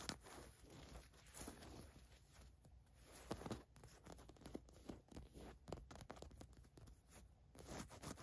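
Long nails scratch quickly across the white printed letters on a green cotton fleece sweatshirt, and a fingertip traces the letters. The result is quiet, dry, raspy scratching in a steady stream of short bursts with a soft fabric hiss.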